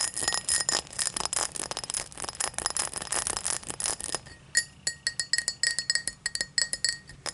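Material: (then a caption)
Glass. Long black nails tap and scratch an empty tall cut-crystal tumbler lying on its side on a towel. Dense, bright scratching and rapid clicking fill the first four seconds, followed by separate sharp taps, each with a brief high glassy ring.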